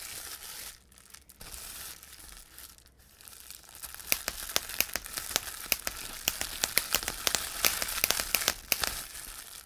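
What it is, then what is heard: Plastic bubble wrap popping. Clear plastic bubble wrap is squeezed and crumpled in hands, with the air bubbles popping under the fingers. A bright, hissy crinkling fills the first few seconds. Then a rapid, uneven series of sharp, dry pops rises above the continuing rustle.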